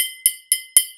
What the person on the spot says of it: even louder with the metal